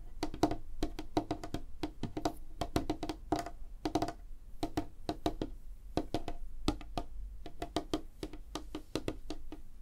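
Long fingernails of both hands tap fast across a large, flat, solid light-wood tabletop. A rapid, uneven run of short, dry, wood-block-like clicks with a mid tone around 300 Hz and a soft low thump under each tap. Every tap dies away almost at once.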